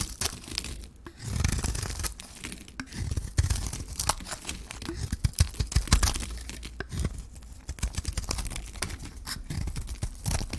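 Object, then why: Hand-held bar of soap shaved with a metal blade. A hand-held solid Johnson's baby soap bar with a gold coating and a white core is shaved by a metal blade, cutting off the coating and the soap. Rapid, dense scraping and crisp tearing crackles run throughout, with a low rumbling underlayer and brighter shaving strokes that come and go in uneven bursts.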